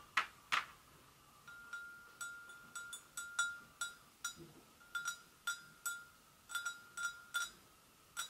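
An empty, hollow, medium-sized white porcelain gravy boat is tapped on both sides with long acrylic nails, giving 18 separate light taps. Each tap is a sharp, bright click over a thin, clear ring near 1.3 kHz that fades within a fraction of a second, with the first two taps the loudest.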